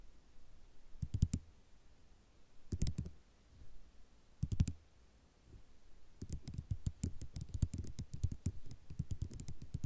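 Long nail tips tap a white ceramic mosaic tile sheet with sharp, dry clicks that stop instantly with no ring. The taps come in three short clustered bursts over the first five seconds, then change to a steady, quicker stream of clicks through the end. Each click has a soft low thump beneath a bright tick.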